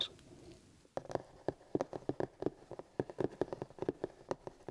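Both hands drum and tap with fingertips and short nails on the lid of a black hard plastic paint kit carry case with a printed card sleeve over it, lying flat and hollow. After a second of quiet, about twenty short, dry, hollow taps sound in an uneven rhythm. Each has a mid-low knock with a light clicky edge that dies away almost at once.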